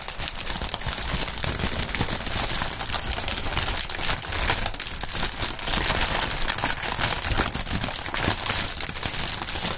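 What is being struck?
Polyethylene air-cushion packaging film.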